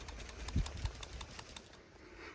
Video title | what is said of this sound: Toyota Avalon (2000-2004) check engine P0441, P0446 fix. How to replace PCV valve and VSV... | Click, click, you can hear it.